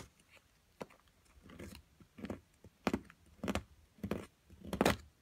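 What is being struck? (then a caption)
Plaster excavation block worked with a metal pick. A small metal carving pick chips and scrapes a solid plaster block from an excavation kit while long-nailed fingers steady it. Short, dry bursts of gritty scraping and sharp chips come at an uneven pace, each with a bright, crumbly edge that dies away almost at once.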